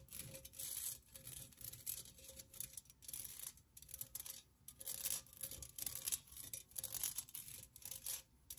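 Long nails tap and scratch the outside of a hollow, empty pink pen cup made of thin perforated metal with a floral cutout pattern. Quiet, bright, raspy scratching comes in uneven bursts, with a faint thin metallic tone underneath and brief pauses between strokes.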